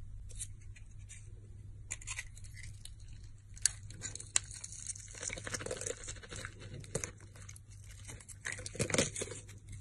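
A utility knife blade cuts and scrapes thin slices from a solid rectangular soap bar with a purple glitter coating and white interior, held in the hand. Crisp, bright scraping and crackling strokes come in bursts, with a few sharp clicks, over a steady low hum.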